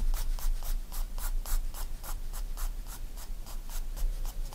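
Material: Paper.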